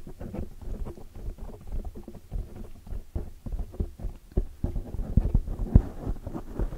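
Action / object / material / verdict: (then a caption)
tap / foam microphone windscreen / foam / none. Long dark metallic fingernails tap and scratch around the sides of a large oval black foam windscreen, made of soft porous foam, on a microphone. The result is a steady, uneven stream of muffled, low thumps and brushy scratching, almost all deep and boomy with no high or bright content. A few sharper taps stand out near the end.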